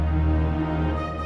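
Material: Nothing is struck.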